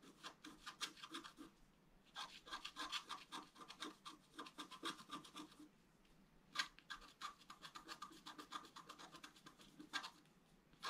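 A wooden stylus scratches short lines into a flat black-coated scratch art paper card, etching a fountain design. Quick, dry, bright scratching strokes come in rapid bursts separated by brief pauses, with a few sharper strokes standing out.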